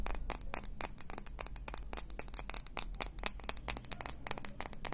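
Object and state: Glass perfume bottle.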